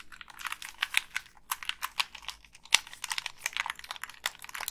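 Long pink nails press the buttons and tap the casing of a black, hand-sized Xbox 360 gamepad with a hollow plastic shell. The result is a quick, irregular run of dry, bright clicks and taps, each dying away at once with almost no low end.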